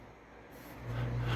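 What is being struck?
Nothing is struck.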